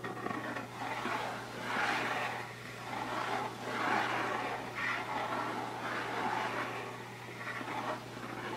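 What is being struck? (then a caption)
Closed rigid cardboard box. Fingertips and nails scratch and tap across the lid top of a closed, hollow, rigid cardboard Birchbox gift box with its lid on. Soft, papery scratching swells rise and fade in repeated waves, mostly in the mid range, over a steady low hum.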